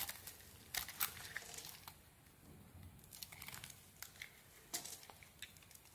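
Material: Soap.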